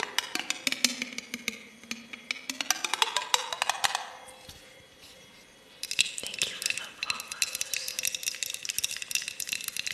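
A small clear glass mason jar with a metal screw lid, holding crinkly silver foil-like contents, is held and turned while long acrylic nails tap on the glass and lid. Many quick, bright, clicky taps come in irregular bursts, mixed with the rustle of the contents and a possible echo. The taps pause briefly near the middle, then resume.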